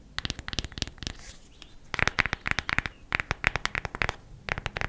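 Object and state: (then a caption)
Cardboard eyeshadow palette. A cardboard eyeshadow palette is tapped quickly with the nails. Rapid, crisp, dry clicking taps come in quick bursts separated by short pauses, each tap ending almost instantly.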